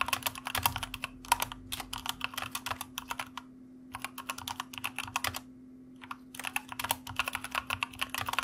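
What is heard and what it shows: Fingertips type rapidly with both hands on a white mechanical computer keyboard with plastic keycaps, producing dense bursts of sharp, bright clicks. Two short pauses break the typing, and a faint steady low hum runs underneath throughout.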